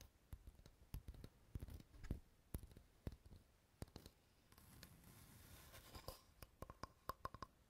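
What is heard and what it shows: A light, solid wooden board is held in both hands while fingernails tap and scratch its face. Sharp, dry taps come in irregular bursts over soft scratching, and a steady brushing scrape fills the middle before the quick taps return.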